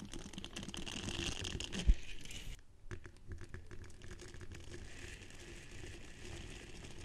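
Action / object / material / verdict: scrape / silicone scrubber pad with soft bristles / silicone / none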